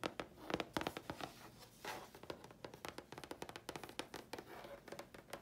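A thin, flat grey chipboard sheet is held flat and tapped with long fingernails on its face and edge. The result is a quick, uneven run of dry, crisp clicks with short scratchy textures between them, each tap dying away almost at once.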